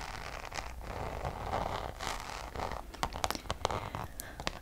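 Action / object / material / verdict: scrape / coated canvas pouch / coated canvas / none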